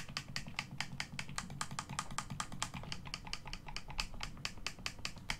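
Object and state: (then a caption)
Plastic game controller. A hollow black plastic Xbox One controller is held in both hands while the thumbs press the face buttons and click the thumbsticks. It makes a rapid, steady series of short, dry, bright plastic clicks that die away almost instantly, over a constant low rumble.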